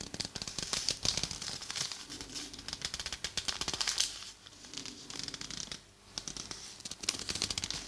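A thin, folded, hand-sized sheet of purple tissue paper is held in both hands close to a binaural mic and crinkled and rubbed between fingers and thumbs. It makes dense, bright, crisp crackling and rustling in quick bursts, with short quieter lulls around the middle and near the end.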